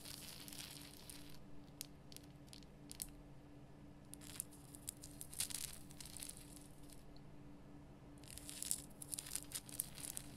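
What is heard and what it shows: Long nails scratch the rough crystal surface of a large, lit, pink Himalayan rock salt lamp made of solid rough salt. Quiet, bright, gritty scratching comes in irregular bursts, busiest at the start and the end, over a steady low hum. Each scrape stops dry with no ring.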